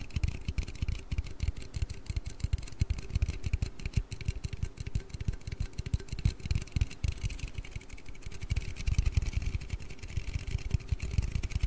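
An aluminium Red Bull energy-drink can is tapped and handled with rapid, continuous fingertip taps. The taps come through as dull, low, hollow thuds with very little ring, over a faint steady hiss.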